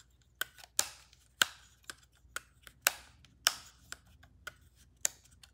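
Long painted nails tap and scratch the solid plastic body and attached lens of a black Canon DSLR camera with a rubber grip, while rings on the fingers may add faint clicks. About 10 sharp, bright clicks come at an irregular pace, and several trail off in short scratchy rasps before quiet gaps.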